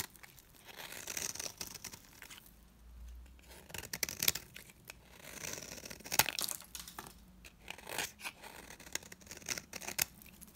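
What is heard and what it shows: A metal blade shaves long curls from the face of a dry, round green soap bar held in the hand. The sound is quiet, bright, dry scraping and crisp crackling, with repeated short rasping strokes and brief sharp snaps.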